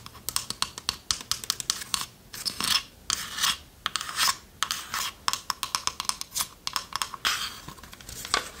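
Long nails scratch the lid and sides of a small, hollow, varnished wooden chest with a metal latch. The result is a rapid series of short, dry, bright scrapes mixed with longer rasping strokes, with almost no low end and no ring after each stroke.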